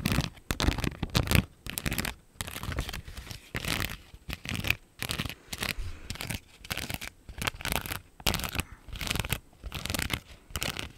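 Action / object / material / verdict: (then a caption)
scrape / thin plastic sheet of rhinestone stickers / plastic / none. Long nails scratch a thin, clear plastic strip of pink flower rhinestone stickers held up in the air. Short bursts of crinkly, scratchy rasping come one after another with brief silent gaps. Each burst is full-bodied down low and bright up high.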